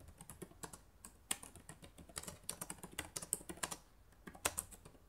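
Long nails type and click on the plastic keys of a black laptop keyboard. About 22 quick, dry, bright clicks come in uneven bursts, each dying away almost at once at a soft level.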